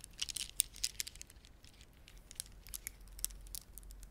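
A red, dark blue and white plastic beaded ornament is held in both hands while fingertips press and rub the beads together. Quiet, quick, sharp clicks and light rattling ticks come in irregular bursts, bright and crisp with almost no ring, over a soft low background hum.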